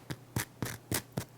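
Fingers tap and scratch the crust of a freshly baked no-knead artisan boule, producing six short, dry, crisp knocks with a low hollow thump and a brittle crackle that stops almost at once. The crust sounds crisp.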